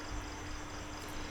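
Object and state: Nothing is struck.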